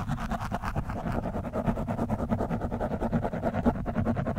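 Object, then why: Foam microphone windscreen scratched with a steel screwdriver shaft. The thin steel shaft of a screwdriver scratches and pokes an orange foam windscreen on a microphone, which is soft and porous. It makes a steady run of rapid, uneven, muffled scratching and thumping strokes, dull and low with almost no bright content.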